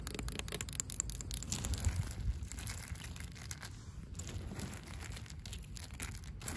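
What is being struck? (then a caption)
Asphalt pavement. Long pink acrylic nails scratch the rough surface of cracked, solid, gritty asphalt pavement. A dense run of short, dry, gritty scrapes and crackles fills the clip over a heavy low rumble with a bright, hissy top. The scratching eases slightly in the middle before picking up again toward the end.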